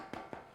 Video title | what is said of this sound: No Knead Rye Bread Recipe Demonstration - Joyofbaking.com | you tap it sounds hollow